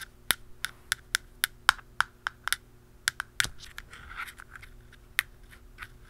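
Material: Plastic.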